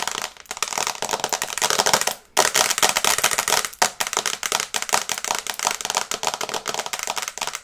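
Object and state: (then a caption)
Glass phone screen tapped with nails. Long red nails tap fast on the glass screen of a small flat smartphone in a teal and brown case, held in both hands. A dense run of bright, crisp clicks, with a brief pause a little after two seconds.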